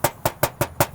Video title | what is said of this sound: how do I know if this is a good property to flip-wholesale | You can always tell aluminum because it's mad loud.